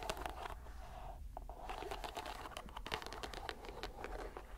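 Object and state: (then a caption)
Rubber mesh stress ball. A green, palm-sized squishy rubber stress ball inside a white mesh net is squeezed and released by hand. It makes a dense run of soft crinkling, squelching crackles with a steady low rumble underneath and a brief quieter pause partway through.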